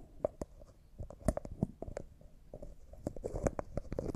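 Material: Glass, plastic.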